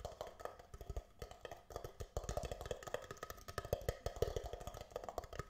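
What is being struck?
Thin plastic disposable cup.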